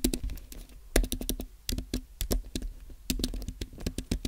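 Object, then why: Low-profile plastic keyboard on aluminum base. Fingertips from both hands type on a compact white Apple Magic Keyboard, its low-profile plastic keys set in a thin, solid aluminum base lying on a white desk. The result is a steady patter of short, soft tapping clicks with a bright edge and a low thud beneath, each dying away almost instantly.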